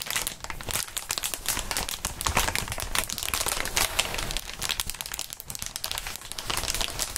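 Clear inflated plastic air column cushion wrap is squeezed and crinkled by gloved hands. A dense, continuous stream of bright crackling and crinkling lasts the whole clip, with quick overlapping snaps and little low-end weight.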